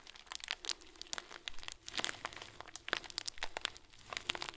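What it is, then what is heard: Plastic bag of small plastic beads. A hand squeezes and grips a clear, hand-sized plastic bag full of small white plastic pearls. Quiet, dense crinkling rises and falls with each squeeze, packed with short, bright, crunchy clicks that stop dead with almost no ring.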